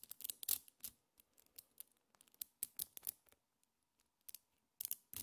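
A small cluster of colorful solid metal neodymium magnet balls is held in both hands while fingertips and long painted nails pull the balls apart and snap them back together. The result is a quiet series of sharp, bright clicks and tiny taps with almost no low end, each dying away almost instantly, coming in quick bursts separated by brief pauses.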